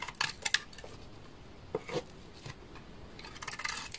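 A utility knife blade scrapes along the edge of a solid rectangular beige bar of dry laundry soap stamped 652, held in the hand, shaving thin curls onto a pile of shavings while a second, untouched bar sits nearby. Crisp, bright scratchy bursts with no ring come in short clusters at the start and middle, separated by quiet pauses. A longer, denser run of shaving closes the clip.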